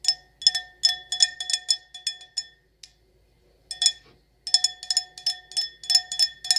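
An empty, hollow stemless wine glass decorated with gold lettering and rhinestones is tapped rapidly with long acrylic nails. The result is bright, clicky glassy pings, high-pitched with faint ringing tones beneath. The taps come in quick bursts separated by a brief pause, each dying away almost instantly.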